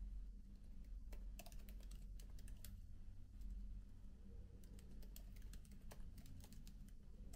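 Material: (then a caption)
Plastic. Fingertips type continuously on the black plastic keys of a MacBook laptop keyboard with an aluminium body. The result is a soft, steady stream of quiet, bright key clicks over a constant low hum.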